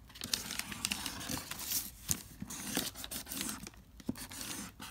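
A pink marker writes across a wrinkled sheet of lined notebook paper on a marble-pattern board while a hand with long nails holds the sheet down. Bright, dry scratching and crinkling rustles come in quick, uneven bursts with sharp little ticks and almost no ring. The result is a continuous, papery, crackling texture.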